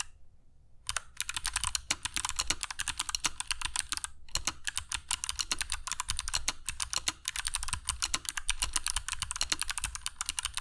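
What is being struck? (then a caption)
Mechanical keyboard with plastic keycaps and clicky switches. Fingertips of both hands type continuously on a compact black mechanical keyboard with dark PBT plastic keycaps and Kailh Box Jade switches, resting on a cork desk mat. After a brief quiet start, a dense stream of sharp, bright clicky keystrokes runs steadily with very short decay and a light low thump under each press.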